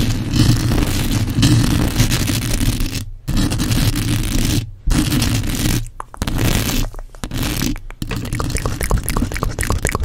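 Long acrylic nails scratch and tap the bare, hollow metal mesh grille of a black condenser microphone while hands grip it. The result is a dense, boomy low-frequency rumble with a scratchy crackle on top, broken by a few brief silent gaps. Quick, bright taps pick up toward the end.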